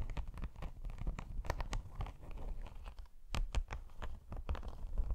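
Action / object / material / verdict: scrape / padded faux leather laptop sleeve / faux leather / none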